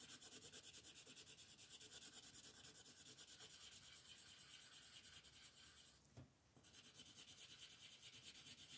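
A light green colored pencil shades the tree foliage on a flat paper coloring book page lying on a wooden table, while the left hand holds the page steady. Quiet, bright, hissing scratch-and-rub strokes repeat in a steady back-and-forth rhythm, with a brief softer pause just after the six-second mark before the shading resumes.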